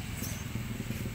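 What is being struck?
Nothing is struck.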